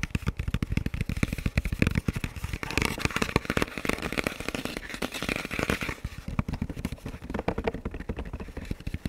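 Fingertips tap and scratch the shell and black velcro strip of a hollow, dark camo composite ballistic helmet held upright. The result is a rapid, continuous run of short, dull knocks with a low thump, mixed with brighter scratchy rasping that swells in the middle.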